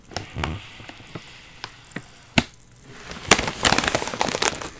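Both hands press and squeeze the back side of a full, sealed, foil-lined plastic potato chip bag, crushing and crinkling the bag and the chips inside. Sparse, sharp crackles and taps come first, then a brief lull. A dense burst of bright, crunchy crinkling runs to the end.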